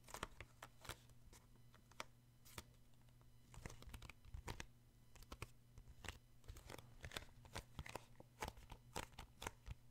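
Fingertips and short nails tap and grip the glossy card front cover of a paperback children's book, making a quick run of sharp, crisp clicks and soft crinkling scratches. A steady low hum runs underneath throughout.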